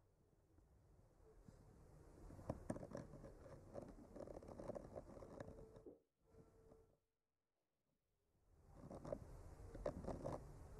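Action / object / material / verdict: scrape / painted wooden board traced with a bamboo skewer / wood / none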